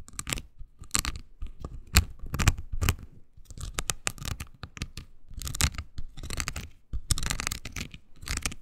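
A small, oval, pink silicone scrubber pad with nubs, solid and flexible, is scratched with long green nails. The result is a rapid series of dry, tearing scratches with bright high-end crackle over a low thump. Short bursts start and stop irregularly, with brief pauses between them.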